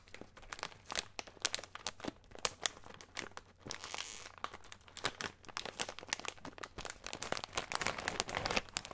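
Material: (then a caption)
Plastic. Fingertips and nails crinkle and rub the top of a small plastic soy snack bag labelled SOJA, full of a colorful snack mix. Dense, bright crackles and sharp crinkly snaps come in quick irregular bursts, with a softer rustling hiss in between and very little low end.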